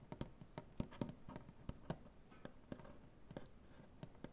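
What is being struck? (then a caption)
Wooden butcher-block tabletop. Dark painted nails scratch along the grain of a large, solid wooden butcher-block tabletop. Quiet, irregular, sharp taps and short scratches with almost no ring are heard over a soft, low rustle.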